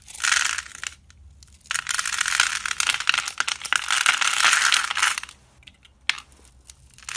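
A red-handled knife carves pre-scored grid cubes off the surface of a solid, hand-sized white/cream bar of soap held in the hand. Dense, bright, crisp crackling and crumbling bursts come in two long runs, separated and followed by quiet gaps, with a sharp click near the end.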